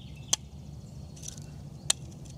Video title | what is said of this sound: What Happens When You Carbonize Coconuts? | Doesn't have that metallic clink